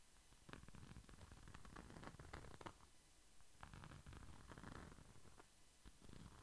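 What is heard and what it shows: A small, flat red pouch with a glitter-coated surface is held beside the microphone and rubbed and scratched with the fingertips. This makes a steady, low, rumbling friction texture broken by soft scratchy crackles and brief bright ticks.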